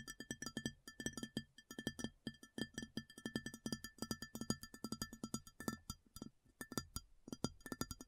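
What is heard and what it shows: Long fingernails tap quickly on a large, round, empty white ceramic plate. It makes a rapid, uneven run of short, clicky taps, each with a brief bright ring and a soft low knock underneath, that fade almost at once.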